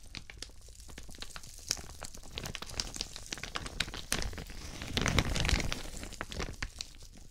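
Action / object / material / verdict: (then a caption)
scrape / thin plastic shower cap / plastic film / none. A thin, translucent white patterned plastic shower cap, empty, is stretched open and crumpled between both hands in front of the mic while fingertips crinkle the film. Dense, irregular crinkling and crackling runs throughout, with sharp bright snaps over a soft low rumble. The sound swells louder and fuller around the five-second mark before settling back down.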